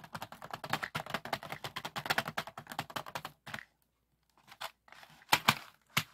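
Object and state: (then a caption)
Plastic bead organizer box. Fingertips of both hands tap on and hold the lid of a medium clear plastic compartment box full of small pearl and acrylic beads, and the beads rattle inside. Rapid, dense, bright clicking taps run for about three and a half seconds, then stop briefly. A few scattered, sharper taps and rattles follow.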